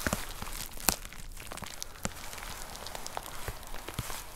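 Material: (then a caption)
Plastic. Long nails tap on a white plastic poly mailer with a box inside, making a steady run of light, crinkly plastic taps and soft rustling. The clicks are bright and short with almost no ring, and one sharper tap stands out near the start.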